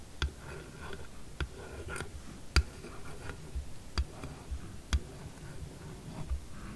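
A glossy red hard plastic phone case printed with "lovely," lying flat and empty on a dark table, is tapped and scratched across its back by long acrylic nails. Sharp, uneven clicks stand out over a soft, continuous scratching, and seven distinct taps are heard.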